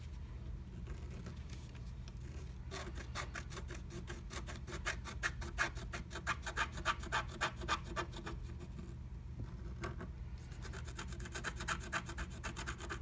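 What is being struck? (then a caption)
Wax-coated scratch art paper scraped with a wooden stylus. A wooden stylus scratches a flat black-coated scratch art sheet inside a butterfly stencil cutout. Rapid, bright rasping strokes repeat at a quick pace over a steady low hum, pause briefly around ten seconds, then resume.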